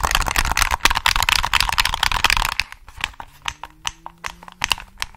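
Fingertips tap and click the buttons and triggers of a hollow black plastic PS3 controller held close to the mic. For about the first two and a half seconds the taps come in a dense, rapid flurry of bright, crackly plastic clicks. After that they thin out into slower, separate sharp clicks with short, dry decays and faint low tones between them.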